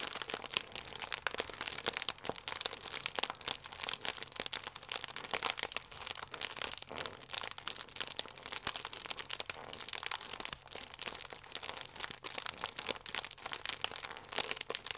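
A full plastic-film croissant pack has its film pressed and crinkled by thumbs. The result is a steady run of dense, bright, crackling crinkles that stay high and thin with almost no low end. Each crackle dies away almost instantly.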